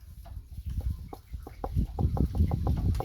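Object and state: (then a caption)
Dry gourd, knocks like wood. A drying gourd is knocked by hand in a quick series of short, dull, low knocks that sound like wood. The wooden sound means the gourd is drying properly.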